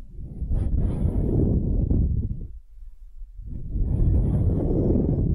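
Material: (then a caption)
Wood. A small solid wooden hemisphere held in the palm is scratched with long nails. Dense, low, rustling scratches come in two long bursts separated by a brief near-silent pause, with faint bright hiss at the top.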